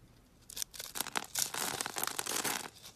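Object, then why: Bar of soap. A solid yellow bar of soap, scored in a grid and held in the palm, is cut with a box-cutter blade so that cubes fall off. After a quiet start, a run of dry, bright scraping and crumbling cuts builds into a dense, crisp crackle. The cuts are short and close together and fade near the end.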